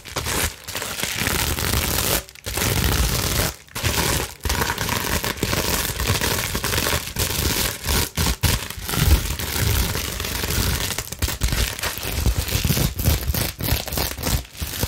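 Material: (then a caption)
Plastic. Long acrylic nails scratch fast across the bubbles of a flat sheet of clear plastic bubble wrap held up in the air. The result is a dense, continuous crinkling scrape with full low and bright content, broken by a few brief drop-outs where the nails pause.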